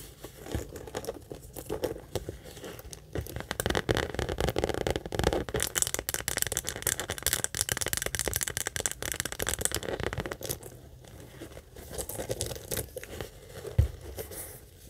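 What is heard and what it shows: Long acrylic nails rapidly tap and scratch the front of a small, hollow monogram coated-canvas mini backpack with leather trim and a metal logo. The result is a dense, crackly stream of quick taps and scratchy rasps, with a dull low body under bright, papery scraping. It eases briefly near the 11-second mark, then picks back up with one sharper tap near the end.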